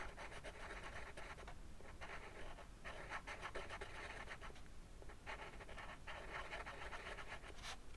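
A yellow-orange colored pencil draws short scratching strokes on a flat sheet of white drawing paper lying on a wooden desk, adding the spines to a dragon drawing. Quiet bursts of dry, papery scratching fill the mid range, separated by brief pauses, over a steady low background hum.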